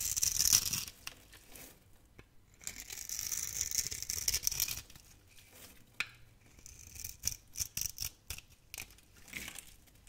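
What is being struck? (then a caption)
Bar of soap. A utility knife blade carves thin slices from a solid, hand-sized, scored pink opaque soap bar. Long, bright, crisp scraping strokes give way to a run of short, sharp crunchy cuts with very little low end and no ring after each cut.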